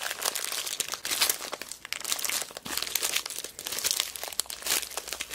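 A small clear plastic zip bag full of mixed beads is squeezed, crinkled and rolled between fingers with long black nails. Dense, bright crinkling and crunching rustles come in bursts with tiny clicks and no low end.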